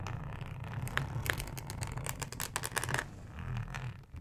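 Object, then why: Thin plastic cutting mat with ribbed texture. Long acrylic nails scratch across a thin, flexible, solid yellow plastic cutting mat with a ribbed texture. The result is a dense run of dry, rattling scrapes and bright, crisp ticks over a steady low rumble, growing busier in the middle before easing off.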